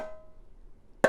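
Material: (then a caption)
Metal. An all-metal container is tapped once, after the fading ring of an earlier tone, giving a bright metallic clink with a short ring around 540 Hz. It sounds different from the metal-bottomed oatmeal container it is compared with.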